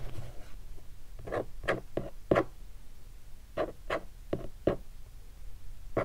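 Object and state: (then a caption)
Hardshell guitar case. Fingertips tap and rub across a large black hardshell guitar case, closed and standing upright, covered in textured leatherette with vinyl stickers. Ten dull, hollow, low-pitched taps come at an uneven pace, with soft rubbing scrapes at the start and a gap between the two clusters.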